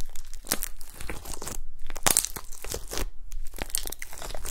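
A blob of gold glitter slime on a table is pressed and poked with long nails and fingertips. It makes a steady stream of wet, crinkly crackles and sharp little pops, with brief bright clicks over a heavy low squish.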